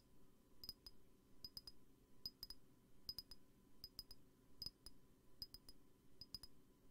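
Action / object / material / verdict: tap / glass perfume bottle / glass / none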